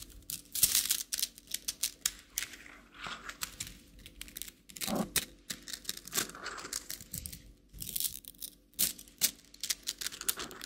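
A plastic rainbow slinky, a coiled plastic spring toy held in one hand, is stretched and dropped back so its coils click together. Quick bursts of bright, dry clicking and crinkly rattling come in uneven clusters, with short pauses between them.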